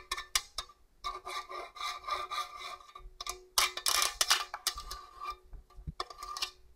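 Long orange nails rub and scratch along the long blade slots of the slicer face and the smooth steel of a hollow stainless steel box grater. Bright, rasping scrapes come in irregular bursts with short gaps, over a thin metallic ring.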